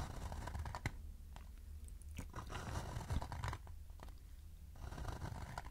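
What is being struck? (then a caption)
Shallow wooden bowl. A shallow, hollow wooden bowl is held and tilted while fingertips scratch and tap its rim and outer wall. Soft, dry scratching and crunchy rustles come with brief, sharp taps that die away quickly. A steady low hum sits beneath the sounds throughout.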